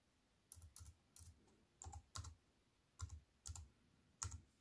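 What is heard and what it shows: Fingertips with long white nails type on a slim, silver-framed aluminium and plastic wireless keyboard with black plastic keys, resting on a wooden table. Eight short, irregular bursts of soft clacks are heard, some of them doubled. Each has a dull low thud under a bright, crisp click that stops quickly, with quiet pauses between.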